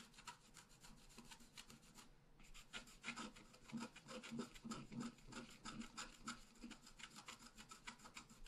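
A wooden stylus scratches the tree-crown details into a thin sheet of scratch art paper lying flat. Quick, irregular dry scratching strokes give a bright, raspy texture with a soft low thump under each stroke. A brief pause comes near the two-second mark.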